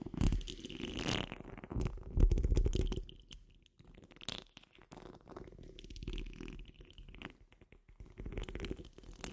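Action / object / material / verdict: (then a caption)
scrape / steel wire-mesh microphone grille / steel mesh / none. Long fingernails on curled fingers scratch the rounded, hollow steel wire-mesh grille of a large condenser microphone, producing a dense, rumbling, low-heavy scraping close to the mic. The scratching is loudest in the first three seconds, then continues more softly in irregular bursts.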